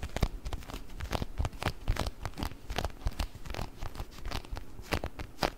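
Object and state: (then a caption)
Plastic container filled with orbeez. A small round clear plastic food container with a blue lid, filled with orbeez, is tapped and scratched with fingernails close to the mic. Quick, dry taps and scratchy crinkles come in an uneven flurry, with a soft low thump under each tap and brief bright clicks on top.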